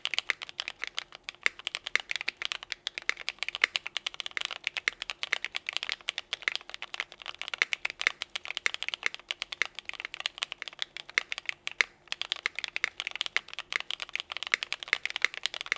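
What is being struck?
Mechanical keyboard with plastic keycaps.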